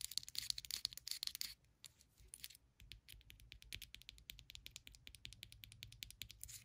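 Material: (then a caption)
Ceramic. Long pointed acrylic nails rapidly tap and scratch the ribbed outside wall of a small white ceramic candle jar filled with solid wax, held in the hand. Crisp, bright clicks with a faint high ring come fast and loud for the first second and a half. They then continue as quieter, scattered taps with light scratching in between.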